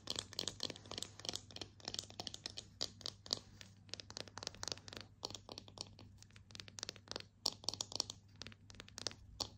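A slotted bamboo spatula of solid wood is held in both hands and tapped and scratched with long painted nails. The result is a dense, quick run of crisp, bright clicks and dry scratching with no ring, over a faint steady low hum.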